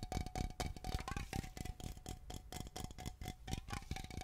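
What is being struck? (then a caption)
Aluminum aerosol can. A Glade aluminum aerosol air freshener can is held horizontally, then vertically, and tapped and scratched with long nails. Rapid, uneven clicks and scratchy taps sound over a faint, steady metallic ring, with most of the energy in the low thuds of the can body.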